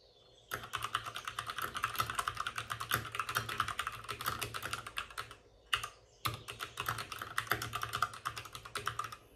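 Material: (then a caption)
Plastic. Both hands type rapidly with their fingertips on the plastic keycaps of a white plastic backlit RGB mechanical computer keyboard, which sits on a desk with a padded wrist rest. The result is a dense stream of short, crisp clicks centered around 1.2 kHz with bright top edges, and each tap dies away almost instantly. The typing stops briefly near the middle, leaving a single stray tap, then resumes at the same fast pace.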